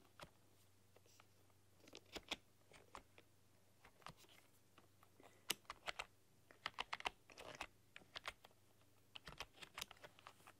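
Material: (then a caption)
Plastic. Long dark-polished nails and fingertips tap and press keys on a full-size plastic computer keyboard with black keycaps and a rainbow RGB backlight. Short, bright plastic clicks come in irregular bursts and flurries, some louder than others, over a faint low steady hum. Each click stops almost instantly, leaving quiet gaps between the typing runs.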